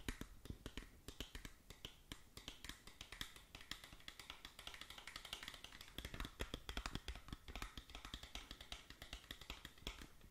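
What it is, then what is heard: Cardboard box tapped with fingernails. Long acrylic nails tap rapidly on the faces of a small, hollow, printed SkinLabo cardboard cosmetic box held up close. The result is a dense stream of quick, dry, clicky taps that die away almost instantly, each with a bright, crisp edge over a soft, hollow low thump.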